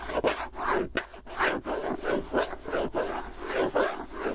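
Fingernails scratch and tap the lid rim and side of a round, hollow plastic tub with a white lid and a clear body, held in one hand. A steady run of dry, raspy rubbing strokes with brief pauses between them sits mostly in the midrange, with a few faint bright ticks and little low end.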